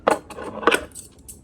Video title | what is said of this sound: Barber Scissors sharpening | Iba talaga tunog ng bakal. Tink.